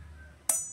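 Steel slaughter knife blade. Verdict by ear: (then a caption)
Hard. A steel slaughter knife (herder) from Arabia, received as a hajj gift, is flicked or tapped once on its blade, giving a sharp click followed by a bright, high metallic ring that fades over a fraction of a second. The ring reflects a hard, crisp temper, though the factory edge was not yet sharp.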